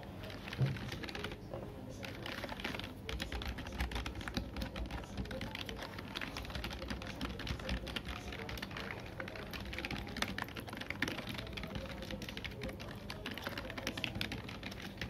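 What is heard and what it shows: Fingertips of both hands type rapidly across a black full-size plastic computer keyboard with low-profile keys, lying on a desk. A steady stream of short, dry key clicks and taps runs throughout, dying away almost instantly over a low background rumble.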